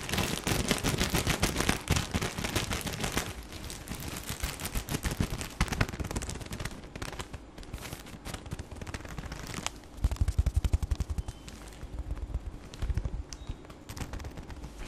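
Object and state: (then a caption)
Plastic-wrapped tissue pack. A full pack of tissue paper wrapped in clear plastic film is held and turned in the hands while the fingertips squeeze and crinkle the wrapper. The result is dense, rapid crackling and crinkling with soft low thumps, busiest in the first few seconds, quieter in the middle, and louder again around ten seconds.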